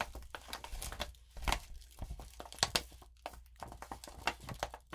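A sheet of lined notebook paper coated with rainbow glitter is rubbed flat with the palm and long nails, then lifted and crinkled in both hands. The result is a series of short, dry, bright crackling and scratching bursts with quick gaps between them and a faint low rumble underneath.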